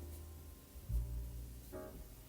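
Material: Nothing is struck.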